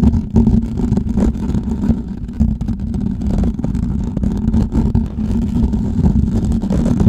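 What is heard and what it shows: Fingertips and nails scratch a hollow, perforated metal mesh microphone head, first with both hands and then with one. The result is a dense, continuous rustling scrape, heavy in the low end, with a steady tonal hum near 220 Hz and many quick scratches blurring together at an even level throughout.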